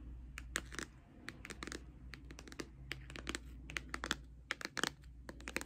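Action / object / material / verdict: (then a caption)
tap / cardboard eyeshadow palette tapped with acrylic nails / cardboard / none. Long acrylic nails tap a closed pink Too Faced cardboard eyeshadow palette on its face and edges. The result is a quick, irregular run of short, dry clicks and taps with bright edges, over a faint steady low hum.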